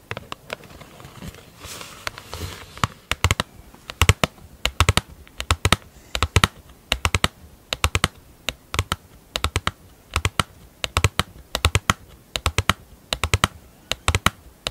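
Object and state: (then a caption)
Plastic lid tapped with fingernails. Long acrylic nail tips tap rapidly on the top surface of a large, round, thin, hollow black plastic lid. Sharp, dry clicks come in quick, irregular bursts with almost no ring, over a faint background hiss.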